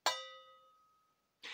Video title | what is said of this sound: Töne bewusst und sauber beenden - Klang und Luftführung - optimieren und besser Trompete spielen 🎺 | si je n'ai pas de bosses ou de déformations ici, alors ça sonne quand je le frappe